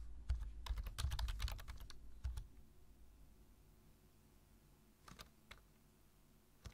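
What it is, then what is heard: Plastic computer keyboard being typed on. Fingertips type on a black plastic computer keyboard, tapping the keys. A quick, uneven run of sharp, bright clicks with a soft low thump beneath lasts about two and a half seconds. After a quiet pause, a few scattered taps follow.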